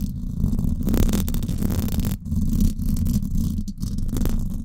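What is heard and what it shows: Long acrylic nails scratch the hollow, silver woven-wire dome grille of a Blue Yeti microphone. The result is a continuous, deep, rumbling scrape, mostly low in pitch with little brightness. It briefly dips around the two-second mark and again near the end.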